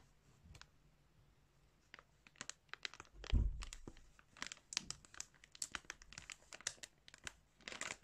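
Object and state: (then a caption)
Plastic bag of yarn crinkling. A hand squeezes and crumples a crinkly clear plastic bag containing yarn. After a quiet start, sharp bright crinkles and crackles begin, with a louder, fuller rustle around the middle. Steady bursts of crinkling then continue to the end.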